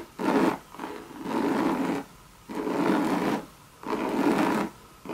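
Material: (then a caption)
Coated canvas. Long red nails scratch the base and side of a hollow Louis Vuitton monogram coated-canvas bucket bag. About four raspy, rubbing scratch strokes, each lasting roughly half a second to a second, are separated by short quiet gaps. The sound has a dry midrange texture with a faint brighter hiss.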